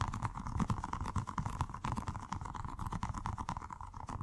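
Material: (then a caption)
Rubber. A small, colorful, soft squishy stress ball with a rubber skin filled with gel water beads is held in the hands and tapped and squeezed with the fingertips. Fast, uneven soft taps and squishes come with dull low thuds, over a faint steady tone around 1 kHz, and nothing bright or ringing.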